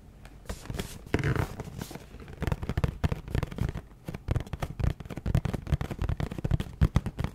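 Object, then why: Cardboard snack box. Long nails tap and scratch a hollow, printed Little Debbie Birthday Mini Muffins cardboard box held close to the mic. The result is a quick, irregular run of dull, boomy taps mixed with dry scratching rustles, mostly low in pitch with short, quickly damped hits.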